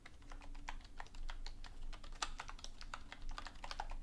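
Both hands type steadily on a hollow black plastic desktop keyboard lying on a dark cloth on a wooden desk, striking the keys with long painted nails and fingertips. A quick, quiet stream of short, dry clacks and bright tapping clicks runs over a low, steady background rumble.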